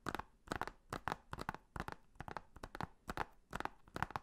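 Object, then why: Plastic Blu-ray case. Fingernails tap and scratch along the back cover of a hollow blue plastic Blu-ray case, making quick bursts of dry, clicky taps with brief scratchy rasps. The sounds come in short repeated clusters with almost no ring after each one.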